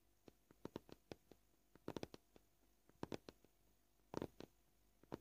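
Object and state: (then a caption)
Plastic cutting board, fingernail tapping. Short polished fingernails gently tap a flat, solid white plastic cutting board with knife scratches, making roughly eighteen quiet, dry, hollow-sounding clicks at an uneven pace, some in quick clusters. Each tap has a soft midrange body and dies away almost instantly with no ring, against a near-silent background.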